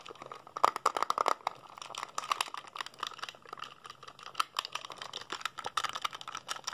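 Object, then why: Plastic handheld game console buttons. A small, hollow black plastic PSP handheld console is held in both hands while fingertips rapidly press its buttons and tap its side edges. Dense bursts of quick, dry plastic clicks and taps with a bright, crinkly edge come in uneven clusters with no ring after each hit.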